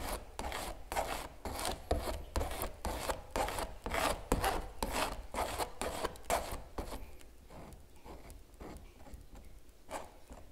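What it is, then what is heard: Stretched canvas print being scraped. A metal palette knife scrapes across a large giclée print on canvas, stretched over a wooden frame and hollow behind, in rapid, repeated rasping strokes with a papery midrange around 500 Hz and a low drumlike undertone. After about seven seconds the scraping fades as fingertips rest on the canvas, leaving only faint, soft rubbing.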